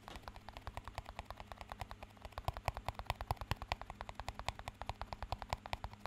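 A small, empty clear plastic cup is rapidly tapped and scratched with fingertips. It makes a quick, uneven stream of short, dry clicks and taps with bright edges and almost no ring. A steady low hum runs underneath.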